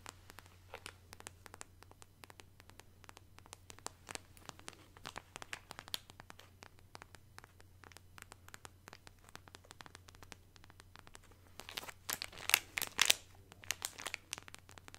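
A small, soft packet of makeup remover wipes in shiny orange foil-plastic wrap, full of wipes, is held in both hands and crinkled and scratched with long acrylic nails. The result is quiet, dense, bright crackling and scratching in quick, irregular ticks over a faint steady low hum. A louder burst of crinkling comes near the end.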